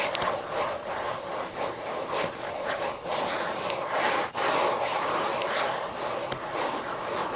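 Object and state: Fingernails scratching paper book pages.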